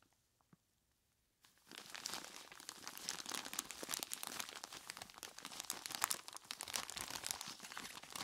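A large clear plastic bag full of ice cubes is gripped and squeezed by hands in skeleton-claw gloves. After a second and a half of near silence, dense, bright crinkling of the plastic mixes with the crunch and grinding of the ice and continues steadily to the end.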